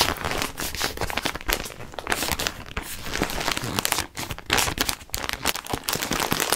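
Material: Plastic.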